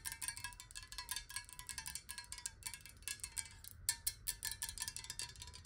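Fingernails tap quickly on a glass water bottle partly filled with water, making a rapid run of bright, glassy clicks with a high ring that dies away almost at once. The tone shifts as the water moves inside the glass.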